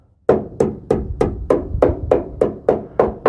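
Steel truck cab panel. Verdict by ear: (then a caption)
Solid. Eleven evenly spaced taps on solid, sound steel of a 1989 Chevy K1500 4x4 truck cab panel give a short, bright knock centered around 500 Hz that dies away quickly. The taps are made for comparison with the rusty cab corner, and the metal sounds good and solid.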